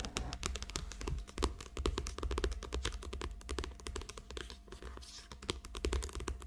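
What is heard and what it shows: Long acrylic nails rapidly tap and scratch the glossy cover of a small, thick paperback book lying flat and solid. The sound is a dense stream of short, dry clicks with bright edges and scratchy rustles between them, each tap dying away at once, over a steady low hum.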